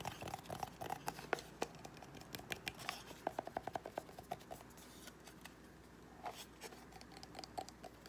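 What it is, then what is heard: Cardboard gift box. Fingernails tap and scratch the lid and side of a small, hollow white cardboard gift box with a gold foil rim. A quick, irregular run of dry, short taps with a hollow ring near 700 Hz mixes with soft scratching against a quiet background, with bright clicky edges and almost no low end.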